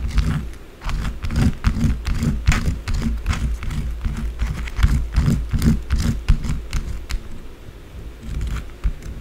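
Long blue acrylic nails scratch and tap quickly and irregularly on a small solid white bar of soap. The result is a steady run of short, dry scratches and taps, with bright crackly scrapes over a dull low thump.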